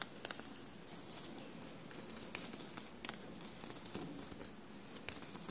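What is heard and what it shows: Long blue-painted nails scratch and tap a bunched navy cotton shirt covered in small silver paillettes. Quiet, dry rustling scratches run throughout, broken by sharp, bright clicking taps that die away instantly.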